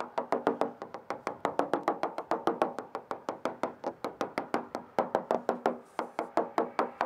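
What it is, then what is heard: Fiberglass transom, solid, not delaminated. A hammer taps steadily across a fiberglass boat transom, checked after a moisture meter flagged a couple of areas, making about 40 quick, dry knocks with a mid-pitched, woody tone and very short ring. The taps sound solid throughout, showing the bonded fiberglass is not delaminated.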